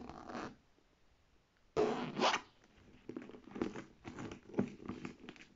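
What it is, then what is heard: Faux leather handbag. Long dark red painted nails tap and scratch the textured side panel of a structured beige faux leather handbag with gold metal handle fittings and a gold plate, hollow and apparently empty, while the other hand holds the handles. Irregular bursts of dry, rustling scratches and soft tapping come in quick clusters, with short quiet gaps between them and no ringing after each stroke.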